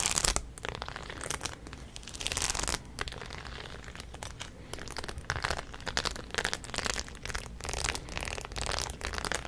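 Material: Denim, metal.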